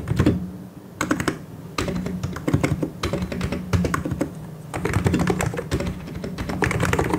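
Both hands type continuously with their fingertips on a full-size mechanical keyboard with white and grey plastic keycaps and hollow key switches, pressing and tapping the keys. The result is a dense, steady stream of deep, hollow clacks in quick bursts, weighted toward low thuds with short, crisp clicks on top.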